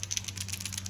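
A plastic one-knocker lipless crankbait lure, which holds a single large rattle inside, is shaken. It gives a quick series of sharp, bright clicks over a steady low hum. The knocks sound deeper and more girthy than a regular rattling lipless crankbait.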